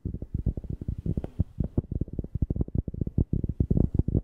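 A cork object is tapped rapidly near a FIFINE K690 microphone, producing about 25 quick, deep, bassy thumps in an uneven rhythm. Each tap is short and dry, dies away almost instantly, and sits almost entirely in the low end, with no bright content.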